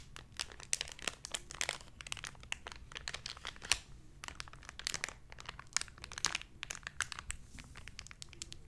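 A small, hollow, clear plastic blister package with a card insert is pressed flat and crinkled with fingertips and long nails. Dense, bright crackles and sharp snaps come in quick irregular bursts over a faint low hum, each crack dying away almost instantly.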